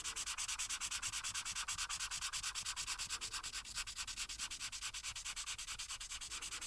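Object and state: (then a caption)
Marker strokes on a paper coloring page. A marker tip held in the hand is rubbed in rapid, repeated strokes across a thin printed paper coloring page lying on a flat, solid board. It makes a steady, scratchy, bright rubbing hiss that pulses evenly with each quick back-and-forth stroke, with almost no low end.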